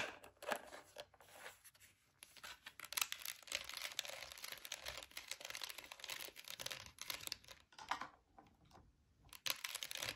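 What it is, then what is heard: Plastic gel-bead air freshener jar. Long nails tap and scratch the sides of a clear orange plastic gel-bead air freshener jar, full of gel beads with its lid on. The result is a quiet, dense run of bright, crackly scratches and quick dry taps with almost no low end, broken by brief lulls near 2 seconds and between 8 and 9 seconds.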